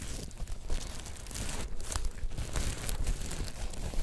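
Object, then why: Sequin-covered fabric star. A black sequin-covered fabric star, held in both hands, has its sequins stroked and scratched with fingertips and nails. The result is a steady, dense crinkling and scratching texture over a low, rumbly base, rising and falling in small swells.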